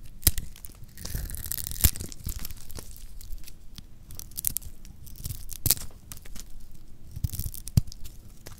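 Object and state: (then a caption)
Dry soap bar shaved with a blade. A metal blade shaves and scrapes the surface of a solid pink bar of dry, lacquered soap held in the hand. It makes dry, crunchy tearing and crinkling scrapes with a steady low rumble underneath. Occasional sharp, bright cracks stand out near the start, middle and end.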